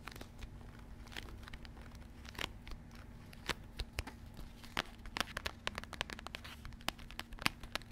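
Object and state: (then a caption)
Cardboard box of cornflour. A small, full rectangular Maizena cornflour cardboard box is tapped and scratched on its faces with long red-painted nails, held close to the microphone. Sharp dry clicks and crisp scratching crackles come in quick irregular bursts over a low steady hum, each tap dying almost instantly.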